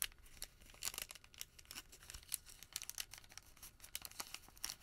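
A folded white thermal paper receipt packet is squeezed, then pressed flat on a table with the palm. Quiet, bright, papery crinkles crackle in quick irregular bursts, mixed with soft rubbing, with almost no low end and no ring after each crackle.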